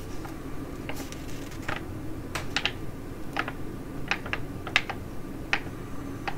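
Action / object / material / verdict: tap / foil laminate sheet mask pouch / foil laminate / none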